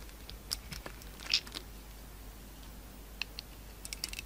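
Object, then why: Bar soap shaved with a utility knife. A pink utility knife shaves and cuts a solid oval bar of soap with a green marbled coating and a beige core. Short, bright scraping and clicking sounds come in scattered bursts over a low, steady background hum, with the loudest scrape just after the first second and a quick cluster near the end.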